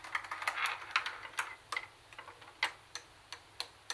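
Long nails tap the cassette buttons and flat plastic top panel of a plastic CD cassette boombox. About fifteen sharp, bright clicks come in an uneven rhythm, each dying away almost at once over a quiet background.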